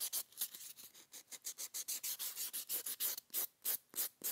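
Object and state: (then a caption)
Foam buffer block sanding a plastic nail tip. A solid neon-green rectangular foam buffer block is rubbed against long clear plastic gel coffin nail tips on a gloved hand. About 22 quick, fairly regular sanding strokes produce bright, hissy scratching with almost no low end.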